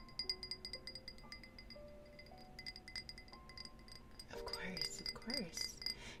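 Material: Glass.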